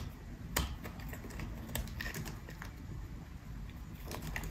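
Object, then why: Bar of soap cut with a blade. A metal utility blade cuts and scrapes pieces off a solid, peach-colored, partly carved bar of dry soap held in the hand. Sharp, crisp clicks and snaps with bright edges ring out irregularly over a steady low rumble, each one short and dry.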